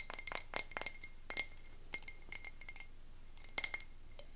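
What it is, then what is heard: Frosted glass candle jar. A medium wax-filled frosted glass candle tumbler, held in one hand, is tapped with the fingernails of the other hand. It gives quick, clear glass clinks with a high, bright ring that dies away almost at once. The taps come in uneven bursts separated by short pauses over a quiet background.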